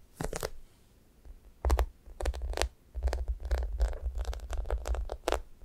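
Long nails scratch and tap the top of a thick, yellow-topped foam squishy toast with brown crust sides, made of solid soft foam with a sticky coating. The result is a run of short, dry, scratchy taps and crackly bursts over a soft, low thudding undertone, with brief quiet gaps between clusters.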